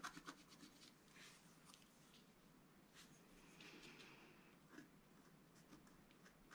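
A wooden stylus scratches lines into the coating of a flat black-coated scratch-art card. The quiet, continuous scratchy rubbing has a few sharper ticks near the start and another just before the five-second mark. A slightly brighter, smoother stroke stands out toward the middle.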